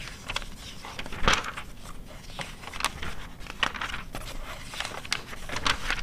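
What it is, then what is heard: Glossy paper magazine. A glossy paper car magazine from 2009 has its pages flipped and is then closed, and long red nails tap and scratch its glossy front cover as it rests on white fur. Crisp, crinkly page turns and sharp, bright taps stand out over a soft, steady scratching rustle.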